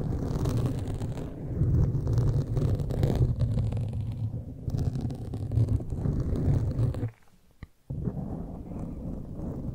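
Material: Foam.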